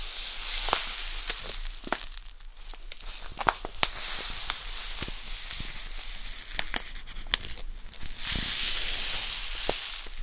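A small, full plastic bag of poppy seeds is held in the hands and squeezed, crinkled and tapped with long nails, the seeds shifting inside. A steady bright, hissy crinkle runs throughout, broken by sharp, quick clicks from the nail taps and soft rustling as the seeds slide around.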